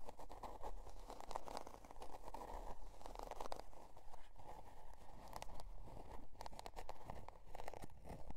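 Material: Cardboard.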